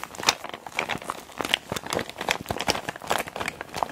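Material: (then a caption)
PVC plastic. A small clear PVC zip makeup bag with a green zipper, full of makeup items, is held and squeezed in both hands with long black nails. It gives a steady run of bright, dense plastic crinkles and soft squelches, with short sharp crackles and almost no low end.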